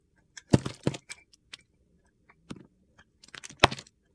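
A metal box-cutter blade scrapes and cuts pieces from the edge of a solid pale-green Palmolive soap bar held in hand. Short, dry, crunchy scraping strokes come in uneven clusters with brief pauses between them, each stopping abruptly with no ring.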